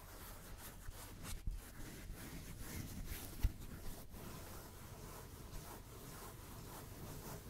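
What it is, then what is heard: Foam block. A dark grey, book-sized solid block of acoustic-style foam is held in both hands and rubbed and scratched with fingertips close to the microphone. It gives a soft, continuous brushing texture, mostly low rumble with faint high hiss, and one slightly louder scrape stands out near the middle.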